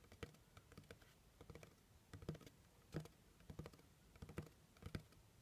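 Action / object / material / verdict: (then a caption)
tap / cardboard box / cardboard / none. A medium, plain brown cardboard box, hollow, is tapped quickly on its top surface with fingernails in an irregular, typing-like pattern. The taps are soft, dull clicks with a low hollow thump and almost no ring, coming in uneven clusters with a few louder taps standing out.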